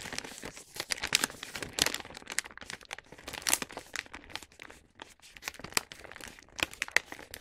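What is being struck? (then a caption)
Paper gift bag. Fingertips fold and crease the top of a star-print paper gift bag filled with wrapped snacks to close it. The result is dense, bright paper crinkling and creasing, with sharp crackling peaks rising over a continuous rustle and almost no low end.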